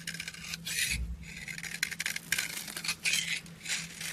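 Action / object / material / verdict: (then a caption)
scrape / soap bar scraped with a blade / soap / none. A yellow-handled blade scrapes and shaves a solid, palm-sized pink bar of soap with an embossed logo, held in the hand, curling off soft powdery flakes. Repeated bright, dry rasping strokes rise and fall in quick bursts with no ring, over a faint steady low hum.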